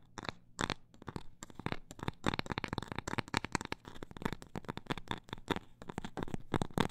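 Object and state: Cork coaster tapped.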